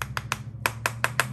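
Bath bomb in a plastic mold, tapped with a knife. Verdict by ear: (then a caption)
Hollow. A knife taps the side of a mold holding a bath bomb, giving seven short, sharp hollow clicks over a steady low hum. The hollow sound shows the bath bomb has released from the mold, and it stays intact.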